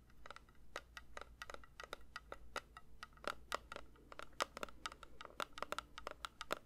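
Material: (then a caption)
Metal. A metal candle tin is lightly tapped with the fingers in a quick, irregular series of soft, short taps. Each tap gives a bright, dry metallic click with a faint ring near 1.2 kHz that dies away almost at once, over a steady low hum.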